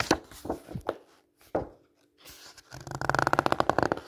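Fingertips rub across and turn the glossy coated paper pages of a large magazine lying open. A few sharp, crisp page swishes and crinkles come first, separated by short quiet gaps. Then a steady, fast, rhythmic scratchy rubbing builds up and continues to the end.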